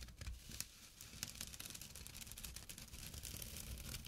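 Short fingernails and fingertips scratch a small, flat, empty jute burlap drawstring pouch lying on dark cloth. The result is a steady, quiet run of dry, rough, crackly scrapes, with bright, hissy texture over a soft low rumble.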